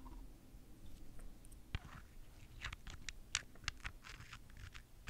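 A small, palm-sized, solid purple amethyst crystal cluster held in one hand is tapped and scratched on its pointed crystal faces with long fingernails. Quiet, crisp clicks and brief scratchy ticks sound at irregular moments over a low background rumble, each dying away at once with no ring.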